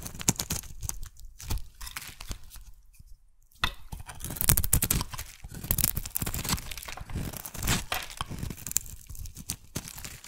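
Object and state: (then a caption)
Bar of soap being shaved. A metal blade shaves a solid oval magenta soap bar, peeling off curls with dense, bright scraping and crackling tearing sounds. The cutting briefly falls quiet near the three-second mark, then resumes in a steady run of rough, crunchy strokes.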